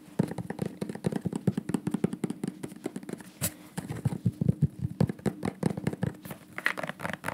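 A dark, medium-sized bottle with a white cap and white label, probably plastic, is held in the hands and tapped quickly along its body with the fingertips and nails. The result is a rapid, steady stream of short, dull, low-pitched taps with a hollow resonance, mixed with occasional brighter nail clicks.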